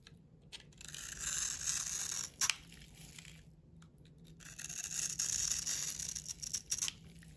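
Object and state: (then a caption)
Bar soap being scraped. A round, solid blue-and-white bar of soap held in the palm is scraped and carved with a metal utility knife blade, shedding soap shavings. Bright, dry scraping strokes come in two long passes with quieter gaps, punctuated by a few sharp clicks of the blade.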